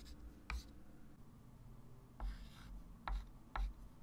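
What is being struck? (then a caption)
Chalk stick on a wooden-framed chalkboard. A white chalk stick writes digits on a small, solid, wood-framed flat chalkboard, making short scratches and taps on the board. A few brief, bright chalk strikes stand out over a steady low rumble.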